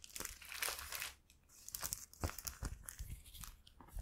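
A single clear, thin, empty plastic bread bag is opened and rubbed between fingertips, giving soft, irregular crinkling. Bright, airy rustles rise and fall, with a denser burst in the first second and a brief lull before scattered crinkles resume.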